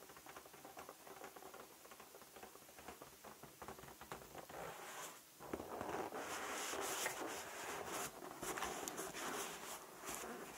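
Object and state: Latex balloon.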